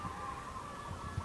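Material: Nothing is struck.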